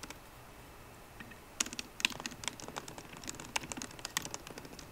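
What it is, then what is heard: Laptop keyboard, plastic keys in aluminium body. Fingertips of both hands type on a 13-inch MacBook Pro keyboard with plastic keys in an aluminum body. After a quiet first second and a half, quick, irregular bursts of short, dry, bright key clicks follow, each dying away almost instantly with very little low end.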